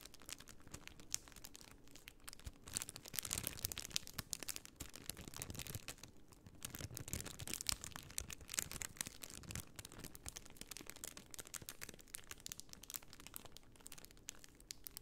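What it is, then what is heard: Plastic sticker sheet in a plastic bag. A flat, rectangular, hand-sized sheet of small white plastic half-pearl stickers inside a clear plastic bag is held in both hands and crinkled and scratched with long painted nails. The result is a quiet, steady stream of bright, dense crinkling and scratching with many quick, crisp ticks and no talking.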